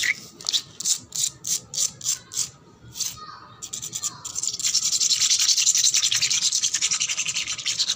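Long black nails scratch fast across a wet, solid, painted concrete floor. Distinct bright raspy strokes come first, then the scratching speeds up into a dense, steady, high-pitched hiss with a quick rhythmic pulse.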